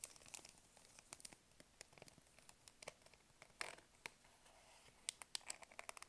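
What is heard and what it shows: Long nails scratch and crinkle a small blue printed plastic snack wrapper that appears full. The result is a quiet, bright run of sharp crackles and scratchy ticks, with a slightly fuller rustle in the middle and a few crisp, louder snaps near the end.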